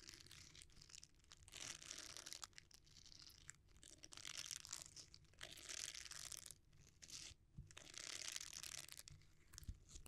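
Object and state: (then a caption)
Silicone scrubber. A palm-sized, flexible red silicone bristle scrubber is squeezed, bent and rubbed with the fingers near the microphone without touching it. This produces soft, bright, crackly rubbing in repeated swelling bursts, mostly in the high range with little low end.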